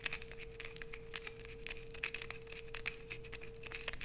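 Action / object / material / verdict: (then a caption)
scrape / bar of soap / soap / none. Long nails aggressively scrape a solid light-blue bar of soap held in both hands, with shavings piling up below. The sound is a quick run of crisp, bright scratching and crinkling clicks over a steady low hum.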